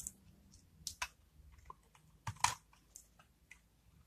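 A metal utility blade scrapes and cuts the face of a dry, solid blue-and-white marbled bar of soap held in the hand, shaving off curled soap shavings. Short, crisp, crunchy clicks and scrapes with a bright, high edge and almost no ring are spaced across a quiet background. The loudest cuts land near the middle and later in the clip.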